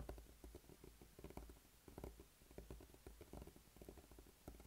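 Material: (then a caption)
Rubber. A small, solid, blue spiky rubber massage ball is rolled and rubbed under a flat palm and fingertips on a dark tabletop. It makes a soft, muffled patter of dull, low thumps and light scuffs, with irregular bumps as the spikes press and release against the surface.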